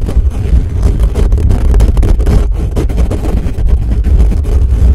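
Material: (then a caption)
Metal mesh. Fingertips of both hands scratch fast over the hollow, bare metal mesh grille of a black condenser microphone, first gripping over the head. The result is a steady, loud, low rumbling roar of dense scratching and thumping, with almost nothing bright above it.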